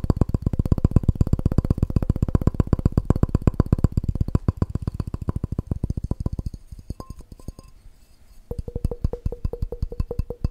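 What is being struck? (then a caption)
Glass measuring cup. Fingertips and short nails tap fast all over the sides and base of a clear, hollow, empty, hand-sized glass measuring cup with red scale markings. The rapid, uneven taps are mostly low, dull knocks with a faint ringing tone beneath them. The tapping thins out and nearly pauses near the end, then resumes with a clearer ring.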